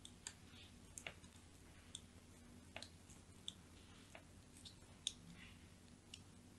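A thin blade held by a hand with long nails scores and scratches fine lines into the surface of a solid white, palm-sized bar of soap held in one hand. About eleven short, dry, bright clicks and scrapes sound in an irregular rhythm, each dying away almost at once. A faint, steady low hum sits underneath.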